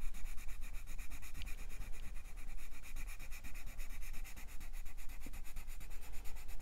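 A light green wooden colored pencil shades a paper coloring book page in rubbing strokes while the other hand holds the page flat on a fluffy surface. The result is a steady, quick back-and-forth scratchy rub with a soft low rumble underneath and a bright, rhythmically pulsing papery hiss throughout.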